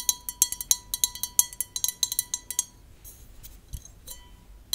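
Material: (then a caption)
Glass. Long nails tap the wall and base of an empty, clear, hollow, tall drinking glass held in the hands. About twenty quick, bright clinks ring with a faint pitched tone before trailing off into softer, scattered taps, with one final sharp tap at the end.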